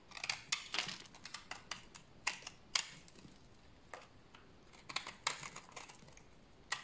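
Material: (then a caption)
Soap. A solid, dry white bar of soap held in the hand is shaved with a utility knife blade into powdery shavings. It makes a quiet series of quick, dry, bright scraping strokes with irregular spacing. Each stroke ends abruptly with almost no ring.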